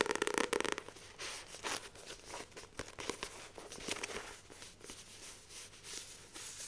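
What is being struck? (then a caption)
Paperback book with card cover. Long nails grip a Famous Five paperback book, solid paper with a glossy card cover, tapping and scratching across the cover. A fast flurry of sharp, bright taps opens the clip, then gives way to a steady, dry scratching and crinkling rustle with almost no low end.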